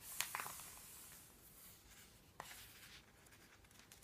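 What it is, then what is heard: Paper phone book pages. Fingertips lift, curl and turn the thin printed paper pages of an open paperback phone book, then the palm brushes across them. Quiet, bright papery rustling and soft swishes are heard, with sharp page flicks near the start and again midway through.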